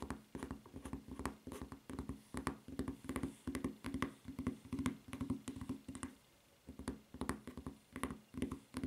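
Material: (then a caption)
Rubber. Long fingernails tap rapidly on the footbed of a white rubber flip-flop with a red strap. Quick, dry clicking taps with a soft, hollow low thump come in uneven bursts, pausing briefly about two-thirds of the way through before resuming.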